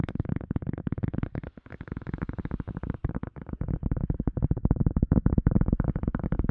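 A silicone cup lid is tapped rapidly and continuously with no talking. The taps are soft, dull and low, with short thuds that die away almost instantly. The tapping dips briefly and grows louder toward the end.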